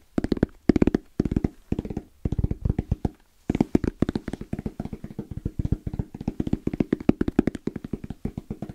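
Fingertips tap and lightly knock in fast, rhythmic bursts on a small, closed, hollow black zippered hard case with orange trim and a fabric-covered EVA shell. Each tap is a short, dull, hollow thud with no ring, centered in the low-mids. The taps come in quick clusters, with one brief pause just past the three-second mark before they continue steadily to the end.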